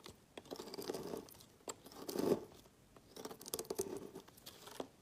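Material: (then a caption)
Soap. A metal knife blade slices thin strips off one end of a solid red-coral bar of soap with an embossed letter, lying on a woven mat, dropping them into a pile of shavings. Each stroke gives a soft, crisp, tearing scrape with a mid-range body and bright, high edges, heard in quiet bursts separated by brief pauses.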